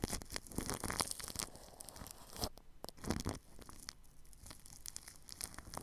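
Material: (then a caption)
Plastic film. A paintbrush brushes across plastic cling film wrapped over the grille of a ball microphone. Close, crinkly swishes and scratchy crackles come in quick, uneven strokes, with a few louder bright sweeps standing out from a steady rustling texture.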